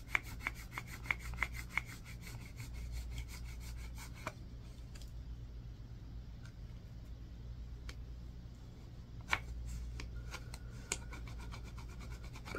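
A yellow-tined tool on a wooden handle scrapes along the edge of a solid white bar of soap, giving a quick run of sharp, bright scratches with a faint tone near 2.2 kHz over a low steady hum. The scraping then thins to a quiet, grainy rasp before a few more crisp strokes return toward the end.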